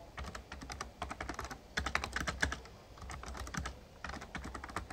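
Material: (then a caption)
Plastic. Rapid key taps from the fingertips of both hands on an RGB-backlit plastic Razer Ornata Chroma membrane gaming keyboard with a hollow casing. The typing comes in quick bursts of short, dry clicks with bright upper tones, over a steady low hum. Brief quieter gaps fall between the flurries.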